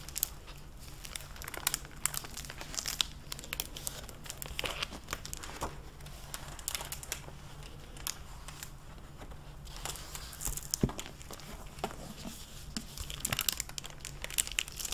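Fingers with long painted nails turn the pages of a dark-blue hardcover library book and bend its clear plastic library jacket. The result is a steady run of dense, bright crinkling and crackling over a faint low hum, with a few sharper crackles standing out.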